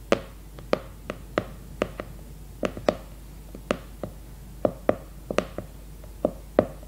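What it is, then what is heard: Hardcover notebook with cardboard cover. Long red nails tap the glossy cardboard cover of a leopard-print hardcover notebook, which is held upright and then laid flat on a placemat. Eighteen quick, dry taps with a woody mid-range tone come in uneven bursts, each dying away almost instantly.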